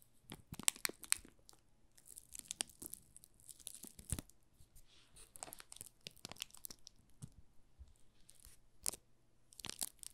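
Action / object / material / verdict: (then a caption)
scrape / soap bar wrapped in thin plastic film / plastic film / none. A small solid bar of pink rose Marseille soap wrapped in thin clear plastic film is held in both hands while fingertips and short nails rub and scratch the film. Quiet, dry crinkling and crackling comes in short, bright bursts, with sharper snaps scattered throughout over a faint low hum.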